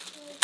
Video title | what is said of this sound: 어디에서도 못 먹는 갑오징어 통찜 크림파스타를 먹어보겠습니다! | 여기 소리를 한번 들어 보세요 … 엄청나게 딱딱한 소리가납니다요